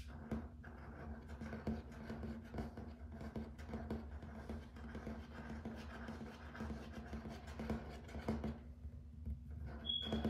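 Fingertips and nails tap and scratch on a grey and white wood-grain plank laminate floor, made to look like wood. Soft, quick taps and rustling scratches run throughout over a low, steady hum near 220 Hz, with a brief bright tone near the end.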